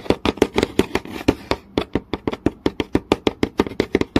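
A long nail taps quickly on a flat, solid wooden board with visible grain, making about 26 short, dry knocks centered around 390 Hz that die away almost instantly. Around the one-second mark a brief scratchy rasp of the nail dragging across the grain fills the gaps between taps.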